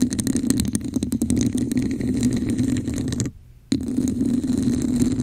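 Long acrylic nails on both hands scratch a hollow, red, textured plastic cup held over the mic. The result is a dense, rasping scratch with a hollow low resonance and quick clicky strokes at the start. The sound drops out briefly just after the midpoint, then the scratching resumes.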